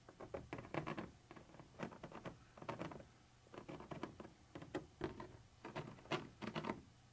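A thin metal pointer tip scratches and taps across a white translucent textured plastic surface. Quick bursts of dry, scratchy patter and sharp little ticks come in short clusters separated by brief pauses. The sound is quiet, with a faint low hum underneath.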